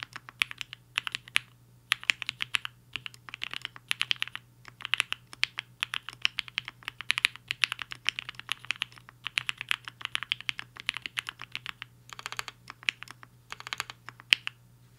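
A black-cased 75% HI-FINGER 7.5 mechanical keyboard with a hollow case and white and pink plastic keycaps, resting on a desk mat, is typed on with the fingertips of both hands. Rapid runs of short, sharp, bright keystroke clacks come in bursts separated by brief pauses, over a faint steady low hum.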